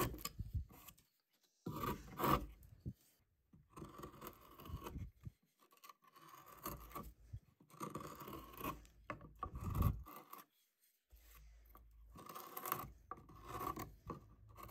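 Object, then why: Cottonwood bark block cut with a steel knife. A wooden-handled steel carving knife cuts into a large, solid cottonwood bark block with a carved face, shaping a girl with a bird. The quiet clip has bursts of soft, rasping, scraping cuts with a low, woody body. Short silences fall between the strokes.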